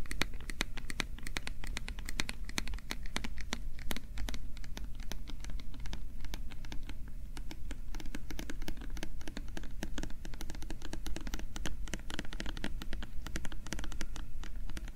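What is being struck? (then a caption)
Small plastic bottle. Fingertips and nails scratch and tap a small, translucent, hollow plastic bottle with a printed label, held close to the mic. A dense, continuous stream of quick, dry clicks and scratches runs throughout over a steady low rumble, each tap dying away almost instantly.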